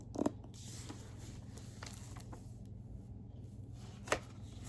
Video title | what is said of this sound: ASMR Book Tapping & Scratching, 2025 Book of the Month Rankings *tingles* *lofi* *whisper* *soft-so | I'm going to do some tapping and scratching on the book